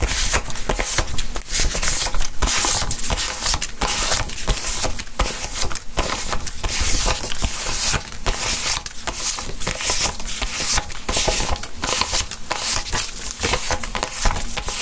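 A small handheld stack of thin, flat cotton-paper euro banknotes is counted and flicked through with gloved fingertips over a desk mat. A steady stream of crisp, bright paper snaps and rustles runs throughout at an even level, over a soft low rumble.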